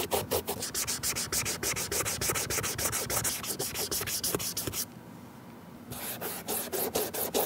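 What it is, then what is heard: Leather sneaker being rubbed. A cotton ball held in metal tweezers is rubbed in repeated strokes along the side panel and toe of a white leather Nike Air Force 1 sneaker, giving a steady train of bright, scratchy swishes. The strokes pause for about a second near the middle, leaving quiet background, then resume.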